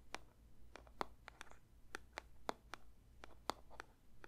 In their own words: 0:30 Paper box tapping